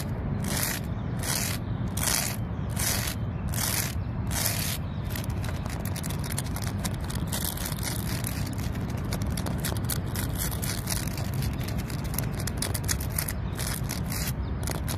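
Long nails and fingertips scratch the rough, speckled bark of a large solid tree trunk beside a lake. The scratching comes as steady rasping strokes over a constant low rumble. For the first few seconds, the strokes are distinct bright bursts, then they blur into a continuous, dense scraping.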